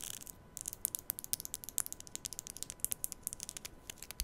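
Long nails rub and strum along the teeth of a black plastic comb held vertically at the mic. The result is a rapid series of short, bright ticks and clicks that die away instantly over a quiet hiss.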